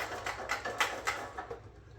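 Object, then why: Propane heater tip-over switch. A Comfort Gear double-tank portable 360-degree indoor/outdoor propane heater, model PPH360-18, is held upside down and shaken so its tip-over switch moves inside, resetting it so the burner will light. About six short, light knocking rattles are heard, bright and quickly decaying, then fading toward the end. The switch is moving freely as it should.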